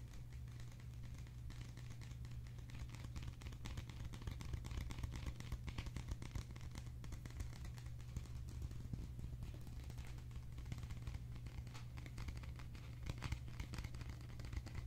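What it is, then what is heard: Paper cup. A small blue and white printed paper ice cream cup, hollow and open-topped, is held in both hands and tapped with the fingertips. The result is a quiet, continuous stream of soft, quick, dry taps and light crinkly clicks, with a steady low hum underneath throughout.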